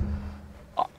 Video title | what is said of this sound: Il lui manque un vrai moteur 👉 RENAULT 5 🇫🇷 | on a entendu le petit claquement de portière